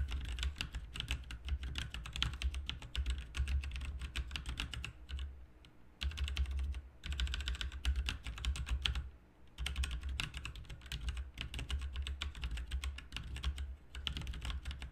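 Fingertips type continuously on a full-size backlit plastic mechanical RGB keyboard with plastic keycaps. Rapid, short, bright clacks ride over a steady low rumble, broken by brief pauses near 5.5, 7 and 9 seconds.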